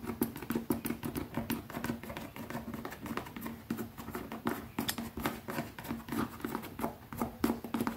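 Fingertips tap rapidly on a leather pouch, producing a dense, uneven patter of soft, dull taps with brief bright clicks. A faint steady low tone near 230 Hz sits under the tapping throughout.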